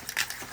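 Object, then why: Metal aerosol spray can with mixing ball. A metal aerosol spray can of clear polyurethane is shaken before use, its mixing ball rattling inside in three bright, clicking knocks. The rattle is becoming less pronounced as the contents mix, and the can is to be shaken until it is no longer clearly heard.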